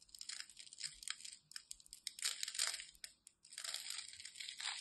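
A utility knife cuts through the scored surface of a solid, palm-sized green striped glycerin soap bar held in hand, and crunchy soap cubes crumble off. Quiet, bright crackling and crunching come in rapid bursts, with a brief pause just after three seconds before the crunching resumes.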